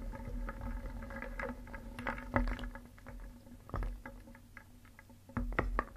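A wooden spoon stirs a wooden bowl filled with solid painted wooden cones, balls and discs. The pieces clack against each other and the bowl in a steady, low, woody rattle, with a faint sustained tone underneath. Sharper, louder knocks stand out at about 2.4, 3.8 and 5.4 to 5.6 seconds.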